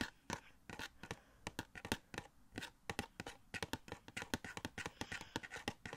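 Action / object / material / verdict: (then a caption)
tap / cardboard box with clear plastic window / cardboard / none. A small hollow cardboard Funko Pop box of The Flash, with a clear plastic window and the figure inside, is held up and tapped and scratched with fingertips. A rapid series of short, dry taps with quick decay alternates with bright scratching, giving a light, hollow papery sound.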